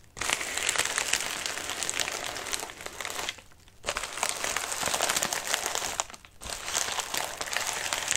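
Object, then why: Padded paper or plastic mailer. A medium white padded mailer with a wrinkled surface rests on a lap while both hands scratch and crumple it with their fingertips. The result is dense, bright, crackly crinkling with very little low end. The crinkling runs almost continuously, with two brief quiet pauses before it resumes.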